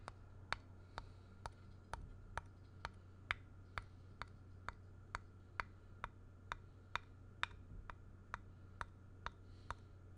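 The point of a thin black stick or pen taps the flat back face of a square, solid, grey-painted wooden block in a steady, even rhythm. Each tap is a short, dry, bright click that dies away almost instantly, over a constant low hum.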